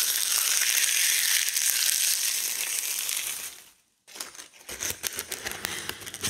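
Gloved hands in white latex crush and crumble large, thin, brittle dried linden leaves held over a round wooden board. A dense, bright crackling rustle fills the first few seconds, fades to near silence, then gives way to sharper, irregular crunches and snaps with a fuller, lower body.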